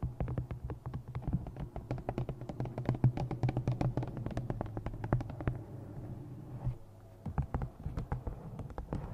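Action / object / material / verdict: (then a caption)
tap / paperback book with glossy cover / paper / none. Long nails tap quickly and steadily on the cover and top edge of a thick black glossy paperback novel. The taps are short, dull clicks with a low, thumpy body and almost no ring. They pause briefly near the seven-second mark, then resume.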